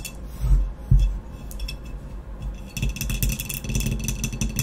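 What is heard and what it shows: Long nails tap and scratch the speckled blue glazed shoulder of a hollow, empty ceramic vase lying on its side with its opening toward the camera. A couple of deep, hollow thumps come first, followed by a fast, dense run of bright clicking taps and scratchy rasps. Each sound dies away almost immediately.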